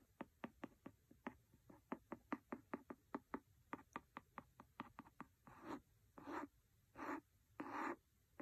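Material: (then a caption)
Paper. A pencil taps a paper book in a quick, irregular run of about two dozen short, dry knocks. It then scratches across the book in four longer, rasping strokes. The sound is quiet and close.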